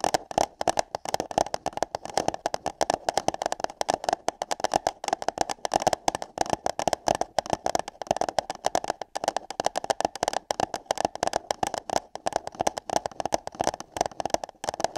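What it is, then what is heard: Paper cup. Long yellow nails scratch and tap on hollow paper cups fitted over the microphone ears. The result is a dense, fast stream of dry clicks and scrapes with a hollow mid-range resonance around 750 Hz and a bright papery edge.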